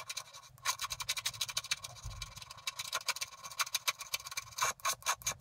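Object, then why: Coated scratch-art paper card scraped with a wooden stylus. A wooden stylus scrapes the black coating off a flat scratch-art paper card near its top right corner, scratching out a picture of a bicycle on a blooming meadow. Rapid, dry rasping strokes follow one another in quick bursts, bright and hissy with almost no low end.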